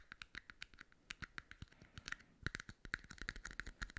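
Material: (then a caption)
Plastic. Fingertips and nails quickly tap and scratch two small, hollow, empty red plastic party cups, one held in each hand near the mic. The result is a quiet, rapid run of short, dry plastic clicks and scrapes with a bright, hollow upper-mid tone. Each hit dies away almost instantly, and the last half grows busier and a little louder.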